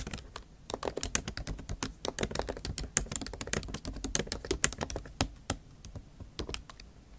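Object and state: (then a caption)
Laptop keyboard typing. Long acrylic nail tips type rapidly on the plastic keys of a MacBook Pro laptop keyboard set in an aluminium body. Fast, uneven streams of sharp, bright clicks come with a soft low thud beneath them, and each tap dies away almost instantly.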